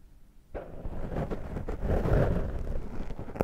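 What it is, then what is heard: Foam microphone windscreen being scratched. Fingertips scratch and pick at a dark foam microphone windscreen held in one hand. After a brief near-silence, a dense, muffled rumbling scrape starts and continues, heavy in the low end with no bright content. It swells slightly in the middle and ends with a short sharp crackle.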